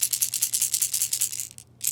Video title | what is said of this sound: Discount Tackle Unboxing - November 2020 - Lipless Crankbaits, Jerkbaits, Cold Water Crankbaits! | we've got two separate rattle chambers in this bait one in the rear and one in the middle they have more medium sized metal balls in there